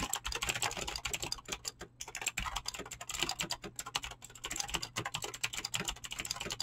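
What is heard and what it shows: Fingertips type fast and continuously on a mechanical keyboard with clicky green switches and PBT plastic keycaps. The result is a dense, unbroken stream of sharp, bright clicks with a little low thock beneath, each keystroke dying away almost instantly.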